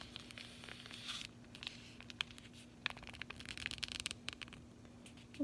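A closed, flat cardboard chocolate bar sleeve is held horizontally in both hands while long nails tap and scratch its front. Quiet, bright, dry clicks and papery scratching come in uneven bursts over a faint steady low hum, with taps clustering more densely near the end.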